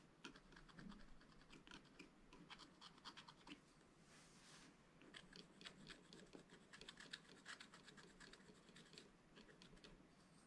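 A wooden stylus scratches the bird area of a black-coated scratch-art page in a spiral-bound book with steady strokes. The result is a quiet run of short, dry, bright scratches, with one longer, hissier stroke near the middle.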